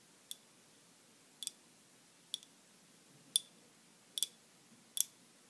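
Long glittery nails tap and scratch a small round ball wrapped in crinkled silver aluminium foil, held close to the camera. Six quiet, sharp, bright clicks come at uneven intervals, some as quick double taps, each dying away almost at once against near silence.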